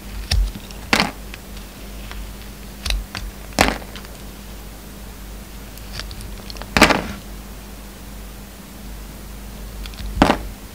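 A hand-held solid white soap bar with a silver glitter coating is shaved and scraped with a utility knife blade. Short, sharp, bright scraping strokes come at irregular intervals over a low, steady background hum, and each stroke cuts off quickly with little ring.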